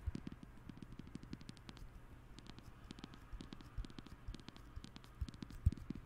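Fingertips tap quickly on the aluminium back of a thin, hollow-bodied silver iPhone with a glass front, held flat above the microphone, then the phone is held and tilted in one hand. The taps are soft, short and dull, mostly low thumps with faint bright clicks, over a quiet steady low hum. A few taps land harder, the loudest near the end.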